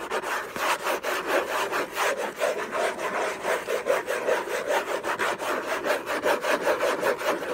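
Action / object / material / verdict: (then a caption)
scrape / paper-covered cardboard box / cardboard / none. Fingertips and short nails scratch the closed lid of a long, rectangular orange Hermès gift box made of cardboard covered in textured paper, which lies on a fluffy blanket. The result is a dense, continuous rasping scratch with rhythmic strokes around 150 per minute, centered in the mid range with a tonal rub near 560 Hz and airy high hiss.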